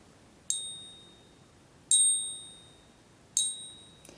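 A real American Silver Eagle silver bullion coin is struck three times with another silver coin used as a ring tester. Each tap produces a bright, high-pitched metallic ring that lingers and fades over about a second, the distinctive ring that marks it as genuine silver.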